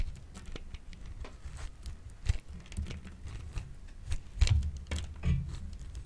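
A solid, yellowish, hand-sized bar of dry soap is held in the hand and scraped repeatedly with the metal blade of a grey-green plastic grater, dropping curls of soap onto the table. The scraping gives quiet, dry, crackly rasps with bright scratchy edges over a low, dull body, and a few louder strokes stand out.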